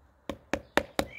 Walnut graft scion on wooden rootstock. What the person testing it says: ses zaten tok tok tok ses. Sıfırladığımızı gösteriyor.